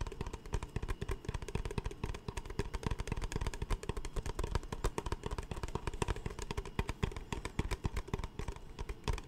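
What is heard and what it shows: An empty, capped clear plastic Smartwater bottle (about 1 L) is held upright in both hands and tapped and squeezed with the fingertips close to the microphone. It makes a rapid, steady stream of short, dull, hollow knocks with deep low thumps, a faint crackle of flexing plastic, and almost no ring after each tap.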